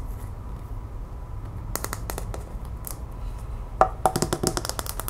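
A small, hollow, empty plastic capsule egg, one half opaque mint green and the other clear, is held in the hands and tapped and scratched with long white-painted nails. Soft scratching gives way to quick, sharp clicky taps that come faster and louder toward the end, with a hollow, mid-pitched ring over a low background rumble.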